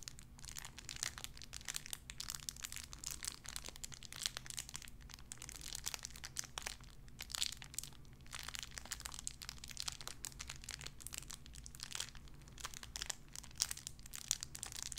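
A small clear plastic bag wrapped around a tiny white figurine is crinkled and squeezed between fingertips with long red nails. The sound is a continuous stream of bright, crackling crinkles with many short, sharp snaps, over a faint steady low hum.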